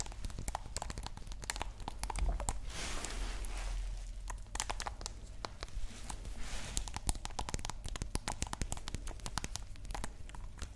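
A small dark green glass nail polish bottle with a white cap, apparently filled, is held in the fingers and tapped and scratched with long nails. Rapid, dry clicking taps mix with bright, crinkly scratching passages over a steady low hum. The sharp clicks die away almost instantly, with no ringing.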